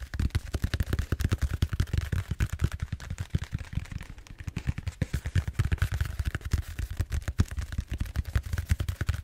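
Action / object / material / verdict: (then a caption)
tap / bead-foam roller / styrofoam / none. A large purple bead-foam styrofoam roller, held upright, is tapped and scratched rapidly with the fingertips. Dozens of quick, deep, hollow thumps run together in a steady patter, with a faint scratchy rustle between them. Each tap dies away almost instantly.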